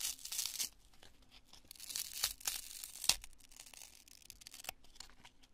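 A cream-colored, twisted chunk of cured polyurethane construction foam, solid and porous, is held in both hands and crushed and torn apart with fingertips and long nails. Dry, bright tearing and crunching bursts come in irregular clusters, with a loud crackle near the start and sharp snaps around the middle and end. The sound is almost entirely high and hissy, with very little low end.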